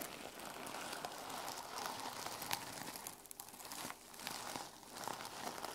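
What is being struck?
Sequin-covered fabric journal cover.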